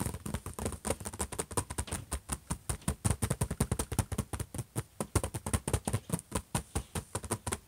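Fingertips rapidly tap and scratch around the logo on the closed, hollow silver lid of an HP laptop. The result is a quick, irregular stream of dozens of short, dull, low thuds with almost no ring, layered over a thin, bright scratching hiss.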